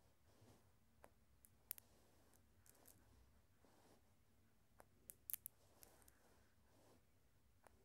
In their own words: Glass marbles making some sounds and rolling around.